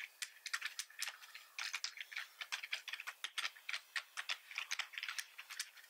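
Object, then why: Plastic computer keyboard. Both hands type steadily with the fingertips on a black plastic computer keyboard. The result is a quiet, rapid run of short, bright, clicky taps with almost no low end, each snapping off almost instantly.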